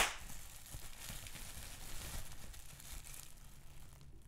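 Fingertips with medium-length pink nails squeeze, pinch and crinkle a large crumpled sheet of clear plastic bubble wrap with big air-filled bubbles, held close. A steady, bright crinkling and crackling runs throughout, with a few sharper snaps and pops over a low rustling body. The sound begins with a loud burst and gradually softens toward the end.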